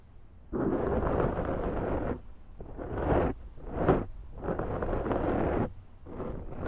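A large round black foam windscreen on a Zoom microphone is scratched on its top and sides with long nails. The result is a deep, muffled, rushing scrape that comes in sustained bursts with brief quieter gaps between them.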